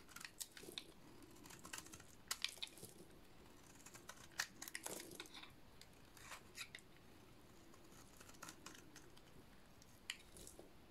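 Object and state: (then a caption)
Dry soap bar being cut. A utility-knife blade shaves a solid, white, dry soap bar into white curls. Quiet, crisp scraping and cutting strokes with bright, crackly edges repeat over a soft, steady hiss. Several sharper snaps stand out along the way.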